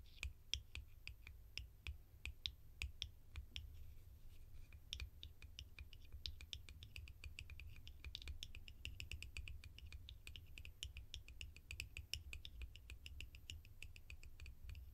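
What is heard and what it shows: A small, hollow, round cream-coloured plastic lid is held in both hands and tapped with long painted nails and fingertips. The result is a steady stream of quick, dry, bright clicks with almost no ring, over a low, constant rumble.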